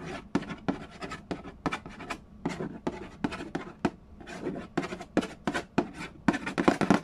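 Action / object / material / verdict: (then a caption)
tap / cardboard board game box lid / cardboard / none. Fingernails scratch and fingertips tap quickly on the lid of a hollow cardboard Yahtzee board game box. The result is a rapid, uneven run of soft, dry taps with scratchy rustling in between. Each tap dies away almost at once and has a hollow low-mid body.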